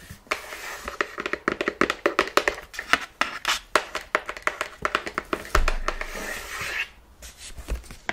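Nails and fingertips tap quickly across the front of a large, hollow, printed cardboard Ring Fit Adventure box, making short, dry clicks and soft hollow knocks with almost no ring. Around the middle a low thump and a longer scratchy brushing over the surface break up the taps before light, sparse tapping resumes at the end.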